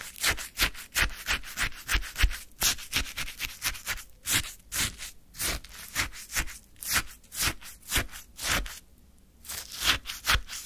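A flat wooden stick repeatedly scrapes and scoops the surface of icy orange shaved sherbet in a small paper cup, making quick, crunchy, bright scraping strokes with a low thud beneath. The strokes come in a steady rhythm, with a brief quiet pause just before the final few.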